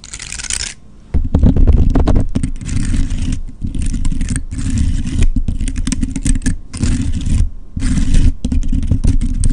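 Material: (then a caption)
Wood. Long red acrylic nails scratch and flick across the open woody scales of a dry brown pine cone, about hand length, held in one hand close to the mic. After a brief bright, hissy start and a quiet pause, dense crackling, rasping scratches with a heavy low rumble run in loud bursts separated by short gaps.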